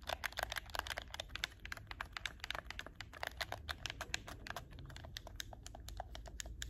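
Fingertips and nails rapidly tap and click the L/R shoulder buttons of a hollow black plastic PS4 game controller held in both hands. A fast, uneven stream of short, dry, bright plastic clicks rides over a steady low background hum.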